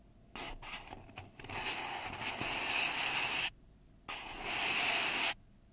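Long red nails rub and scrape along the side of a hollow, empty brown kraft paper cup held in both hands. The result is a bright, hissy papery scratching in two long strokes: the first starts with a few short choppy scrapes and builds into a steady rasp, and the second, after a brief silence, is a shorter, louder stroke.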